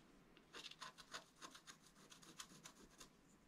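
A wooden stylus scratches the top edge area of a flat, wax-coated scratch-art paper card lying on a table. It makes a series of short, quiet, irregularly spaced raspy strokes that are bright and hissy, with little low end. Each stroke stops quickly with almost no ring.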